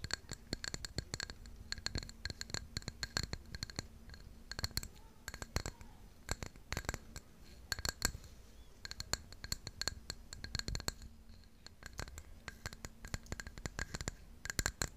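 Long nails scratch and tap the glazed surface of a hollow white ceramic mug with blue flowers, held in both hands. Many quick, dry clicks and scratchy strokes come in irregular bursts, with bright high edges and almost no ring, over a faint low hum.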